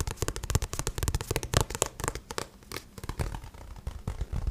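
Fingertips tap and scratch the glossy card cover of a paperback book in quick, irregular bursts. Each tap is short and dry with a soft low thump, mixed with a faint, bright scratching hiss from the cover's surface.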